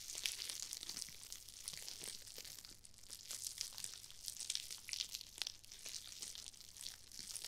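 Two small foam-filled nylon-mesh scrub sponges, one pink and one red, are squeezed and crushed by hands with long nails right next to a binaural ear microphone. The result is a quiet, continuous stream of bright, crinkly crunching and crackling, full of dense tiny snaps with almost no low end.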